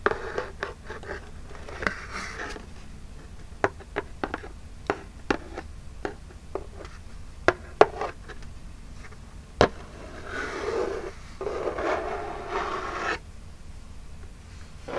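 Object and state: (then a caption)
Cardboard box. Long jeweled acrylic nails scratch and rub the printed lid of a small, flat, hollow Birchbox cardboard box held upright. Sharp, dry nail clicks and taps come over a soft scratching texture, then give way near the end to a longer, steadier rubbing scrape. A low, steady hum runs underneath throughout.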